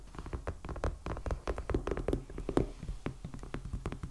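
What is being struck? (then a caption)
Hardcover sketchbook in plastic wrap. Fingertips and nails of both hands tap quickly on the cover of a medium black, solid hardcover sketchbook in plastic shrink wrap with a paper band, lying flat on a table. The rapid, uneven run of short, dull taps is weighted toward the low end, with faint crisp clicks from the wrap and nails. Each tap dies away almost instantly.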